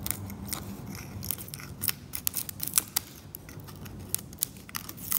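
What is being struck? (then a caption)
Varnished oil painting surface scraped with a metal blade. A metal scalpel steadily scrapes varnish off a varnished oil painting along the cleaned boundary, lifting visible flakes of varnish. The clip holds a run of short, sharp, bright scratches and ticks over a low, steady rumble, each stroke dying away almost instantly.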